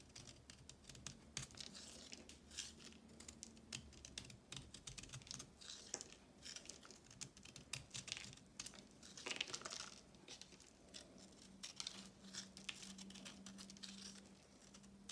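A solid block of pressed, reformed multicolor chalk, held between the fingers and thumbs of both hands, is cut and crumbled over a pile of chalk crumbs. Dense, crisp, bright crackling and crumbling snaps come in quick bursts throughout, each dying away almost instantly. A faint low steady hum runs underneath.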